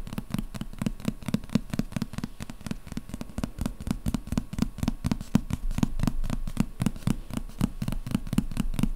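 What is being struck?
Hardcover book with paper dust jacket.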